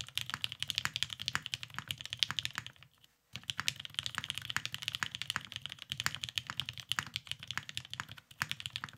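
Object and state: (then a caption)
Mechanical keyboard with plastic keycaps. Both hands type continuously with the fingertips on a beige tenkeyless Cerakoted Salamander mechanical keyboard with lubed vintage black switches and plastic keycaps, resting on a desk mat. The rapid keystrokes produce bright, sharp clacks with very short decay and little low end. The typing pauses briefly near the three-second mark before resuming in a steady stream.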